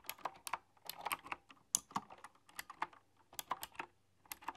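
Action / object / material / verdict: tap / keyboard with round metal-rimmed keycaps / plastic and metal / none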